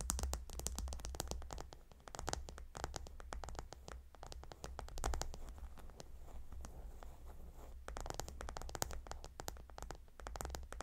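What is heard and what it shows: Long nails on both hands claw-scratch the hexagonal stone tiles of a gemstone hot stone pillow. The result is a dense, continuous run of quick, crackly scratches and clicks over a steady low hum, with brighter bursts near the start and end.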